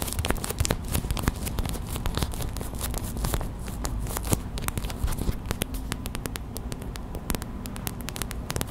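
A small clear plastic hot/cold pack with a printed label, filled with white gel beads, is held in the hands and squeezed, tapped and scratched with long white acrylic nails. Rapid, dense crinkly taps and short sharp clicks with no ring sit over a steady low rumble and soft bead shuffling.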